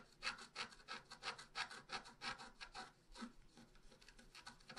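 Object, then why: Coated scratch art paper scraped with a wooden stylus. A wooden stylus scratches lines into the coating of a flat black-coated scratch art paper sheet lying on a table. Quiet, bright, raspy strokes repeat at about three per second in an uneven rhythm, each a short dry scrape with no ring.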